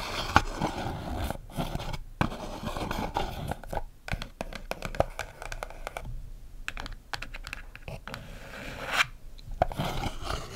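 Long black acrylic nails tap and scratch the faces and edges of a small, closed, hollow brown kraft cardboard box held in the hands. The result is a continuous run of dry, papery scratches mixed with quick, light taps that stop almost instantly, with brief quiet gaps between bursts.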